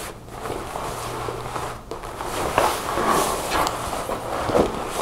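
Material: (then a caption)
Faux leather. A dark faux leather jacket with snap pockets and a center zipper lies flat on a table while long nails tap and scratch its leather front. Soft scratchy rustling with light taps runs throughout, with a few sharper taps standing out.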